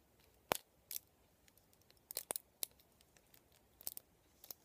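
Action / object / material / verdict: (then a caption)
flick / plastic round vent hairbrush / plastic / none. Fingertips and nails scratch and flick the plastic pin bristles and hollow vented barrel of a black plastic round vent hairbrush. The result is a quiet series of sharp, dry, bright clicks and ticks with faint scratchy rustling between them. Each click stops almost at once with no ring.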